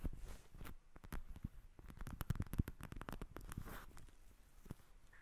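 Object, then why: Plastic eye mask filled with gel beads. Long nails tap and scratch a pink plastic eye mask filled with gel beads, which lies in front of the recorder. The sound is quiet and irregular: a dense patter of short, dull, low clicks and soft scratches. No ring follows them, and a few brighter ticks stand out.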